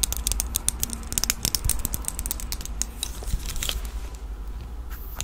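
Long nails handle a red plastic disposable lighter with a metal top, held close to the microphone, and click its mechanism. Rapid, bright, dry clicks and taps patter over a steady low rumble, fading to lighter scratching near the end.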